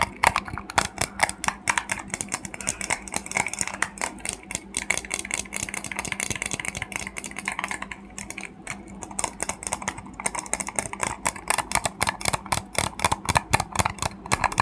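A small, hollow, cream-colored plastic egg made of two halves with a visible seam is held close to a fluffy microphone and tapped and scratched with fingertips and nails. Rapid, dense, bright clicky taps and scratchy rustles run throughout, each dying away almost instantly, over a faint steady low hum.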